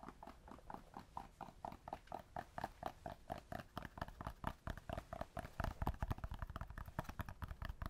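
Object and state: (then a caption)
Cork, tapped. Cork is tapped up close and then farther from the microphone, giving a steady run of short, dull, hollow knocks that sound like clip-clopping hooves. The taps come quickly in an uneven rhythm with almost no ring, and grow louder and denser toward the end.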